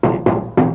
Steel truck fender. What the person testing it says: elles ont la bonne tôle bien solide quoi, hein, et ça sonne clair